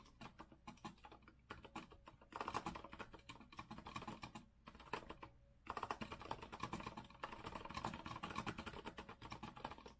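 Both hands type continuously with their fingertips on a compact retro Azio mechanical keyboard with a rose-gold metal frame, round typewriter-style plastic keycaps and a white base, resting on a wooden desk. Rapid, dry clicks and clacks with very short decay run throughout, with a pitch around 840 Hz. The typing is quieter at first, louder from about 2.3 to 4.5 seconds, then louder again after a brief lull near 5.5 seconds.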